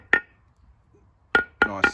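Four sharp taps land on a new brake lining freshly riveted to a steel heavy-truck brake shoe, each a short, bright knock with a brief ring near 1.8 kHz. The taps sound solid rather than hollow, showing the rivets are tight.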